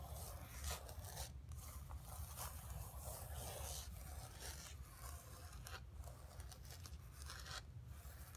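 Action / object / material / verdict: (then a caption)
scrape / painted canvas board / canvas / none. Long fingernails scratch across the surface of a flat painted canvas board resting on carpet. The result is a steady, dry, raspy scraping with bright hiss, broken by brief lulls between strokes, over a constant low rumble.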